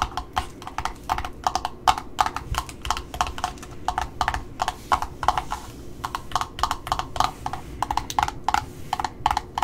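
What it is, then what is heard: Cardboard ribbon spool. Long nails tap the top of a small red ribbon spool, made of cardboard discs with a paper label and wound with satin ribbon, held in the hand, then scratch the label. The result is a quick, uneven run of dry, hollow clicks with a woody mid-range tone and bright edges, each dying away almost instantly. A brief softer scratching patch shows up between the taps.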